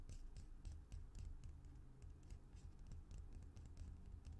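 Fingertips and nails tap and scratch along the sides of a small, hollow white plastic lotion or cuticle cream bottle with a white cap and green-yellow label, held upright in both hands. Soft, low, hollow taps blend with faint, bright scratching in a steady, quiet patter.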